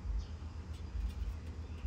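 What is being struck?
Nothing is struck.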